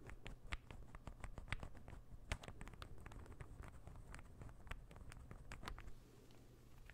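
A small, solid, assembled light-wood interlocking ball puzzle is held in one hand while the fingernails of the other hand scratch and tap it. Quick, dry clicks and taps patter over a soft scratching texture, with short bright ticks and a low hollow undertone.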